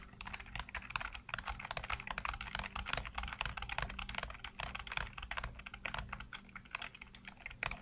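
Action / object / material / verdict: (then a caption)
tap / plastic computer keyboard / plastic / none. Fingertips rapidly tap and type on the hollow keycaps of a full-size black plastic computer keyboard, heard close-up from a low angle. Dense, bright clicky keystrokes run continuously with a soft low hum underneath, each tap dying away almost instantly.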